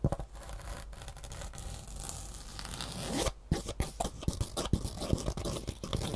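Long nails scratch the ribbed fabric top of a green Superfeet foam shoe insole, starting as a soft, steady, low rasp. After a brief pause, it turns into a run of quicker, sharper scratches with bright, crisp edges.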